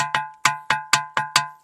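A musical rock is struck six times, each hit giving a bright, metallic ring like a struck steel water pot. The ring centres on a clear pitch near 1 kHz with higher overtones and fades quickly between strikes.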